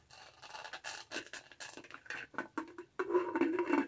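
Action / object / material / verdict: tap / studded plastic tumbler lid / plastic / none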